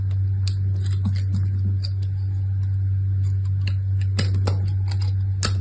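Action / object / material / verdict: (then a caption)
scrape / bar of soap scraped with a knife blade / soap / none. A small, dried red bar of soap with a pale, crumbly interior is held in a hand with long red nails while a utility knife blade scrapes and carves flakes off it onto a pile of shavings below. Short, dry, bright scratches and ticks sound over a steady low hum.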